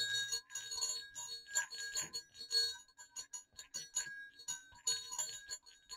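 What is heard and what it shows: Two small hollow silver metal jingle bells, hanging one above the other on a cord, are shaken to jingle. A quick run of bright, high clinks and dings follows, each fading almost at once with very little low end.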